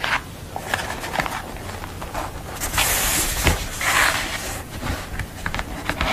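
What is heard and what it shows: Long nails tap and scratch across a flat, glossy paper art print of a red-haired woman lying on a dark board, and along the print's edge. Sharp, crisp clicks are scattered between brighter, hissing scrapes, with several louder sweeping strokes in the middle.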